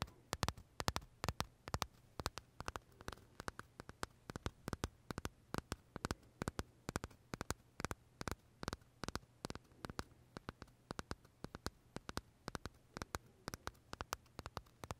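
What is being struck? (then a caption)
Macaron with crisp meringue shell. Short fingernails tap and scratch the crisp shell of a large pale vanilla macaron held upright in both hands. The result is a rapid, irregular stream of dry, very short clicks with a few brief scrapes, bright and crisp, over a faint low hum.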